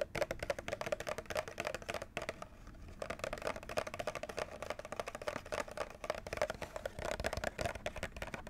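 Fingernails tap quickly on the top edge and front of a white plastic clamshell package holding a Nintendo Switch controller, visible through its clear window. The result is a dense run of light, dry plastic clicks with a hollow ring, broken by a brief pause about a third of the way in.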